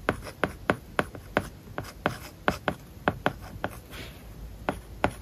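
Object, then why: Plastic stylus on a tablet screen covered with matte plastic film. A plastic stylus writes words on an iPad lying flat with a matte plastic paper-like film over its glass screen. Fifteen short, dry taps click out sharply, joined by soft scratchy strokes and faint rubbing between them.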